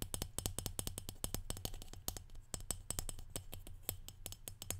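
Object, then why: Small brushed metal salt shaker. Fingernails tap and scratch the perforated domed top and body of a small, hollow brushed aluminum or steel salt shaker held in one hand. The result is a rapid series of sharp, bright metallic clicks that die away almost instantly, over a steady low hum.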